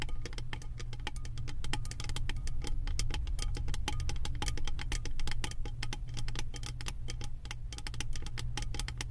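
Long nails tap and scratch rapidly across the beaded pattern of an embossed metal lid on a candle jar. Dense, bright metallic clicks and ticks come in quick succession over a steady low hum, at an even level for about nine seconds.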